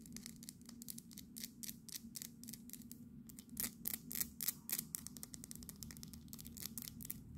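Long nails rapidly tap and scratch a small, solid, painted resin souvenir fridge magnet of the Houses of Parliament. The result is a quick, irregular run of crisp, bright clicks and scrapes that stop dead with no ring, over a steady low hum.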